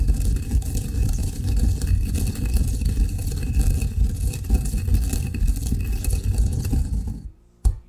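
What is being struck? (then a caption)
Coffee grounds in a granite mortar and pestle. A granite pestle rubs and grinds finer coffee grounds in a granite mortar, making a steady, low, gritty rumbling scrape for about seven seconds. The grinding then stops, followed by one brief knock.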